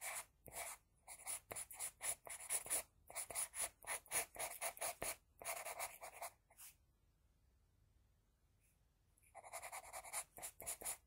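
An HB pencil scratches short hair strokes across a flat sheet of drawing paper, making rapid, bright, dry scratching bursts in an irregular rhythm. The strokes run steadily for about six and a half seconds, stop for a quiet stretch, then resume near the end.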